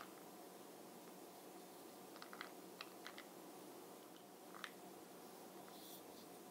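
Fingernails tap the top and side of the brown glossy plastic lid of a small, hollow Bronze Booster makeup jar with beads inside. Six short, bright clicks with almost no ring rise softly over a steady low hiss.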